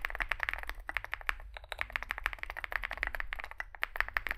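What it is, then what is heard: Mechanical keyboard with plastic keycaps. Fingertips type continuously on a small Zoom65 65% mechanical keyboard with a dark case and white and grey SA plastic keycaps. A steady, rapid stream of short, crisp plastic clacks with a bright mid-high tone dies away almost instantly, over a faint low hum.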